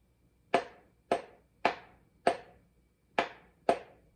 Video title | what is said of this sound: LS-6 Rings/Pistons/Rods Install | that little solid sound there and we have hit home